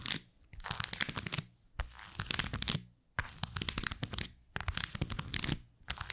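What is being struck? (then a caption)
Leather card holder with plastic cards. Long white almond-shaped acrylic nails tap and scratch the face and edges of a small, flat, black textured saffiano-style leather card holder that holds plastic cards, thin and not hollow, close to the microphone. Rapid, dry, bright scratching and clicking comes in bursts separated by brief silences, with no ring after each tap.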